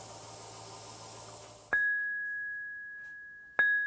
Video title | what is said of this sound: Patrimoine : le patrimoine vivants, rencontre avec Jean Hartwing tailleur sur Cristaux | Le son du cristal.